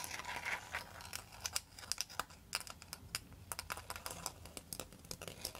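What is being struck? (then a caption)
Bamboo pan flute tapped and scratched with metal nails. A bamboo pan flute, a bundle of hollow bamboo tubes, is tapped and scratched with long pointed metal nail extensions. Quick, bright clicks and dry scratching rasps follow one another in an uneven stream, each dying away almost at once with very little low end.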